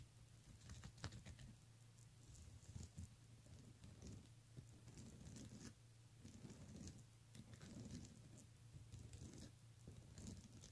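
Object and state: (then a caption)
Plastic beaded handbag. Fingertips and nails tap and rake quickly over the beads on the front of a pink plastic beaded handbag. The result is a quiet, dense patter of tiny dry clicks and rattles with crisp, bright ticks that die away almost at once. A steady low hum runs underneath throughout.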